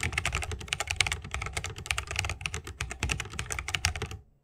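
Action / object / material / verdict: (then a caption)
tap / mechanical keyboard with bamboo case and plastic keycaps / bamboo, plastic / none. Both hands type continuously with the fingertips on a 60% mechanical keyboard with Holy Panda switches, a bamboo case and plastic keycaps. The rapid, overlapping keystrokes make bright, clacky clicks over a soft low thock. The typing stops just before the end, leaving silence.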